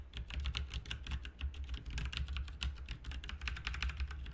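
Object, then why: Plastic mechanical computer keyboard. Fingertips of both hands type continuously on a full-size backlit RGB mechanical computer keyboard with plastic keycaps on a hollow plastic/metal case. The result is a rapid, steady stream of sharp, bright clicks and clacks over a constant low hum.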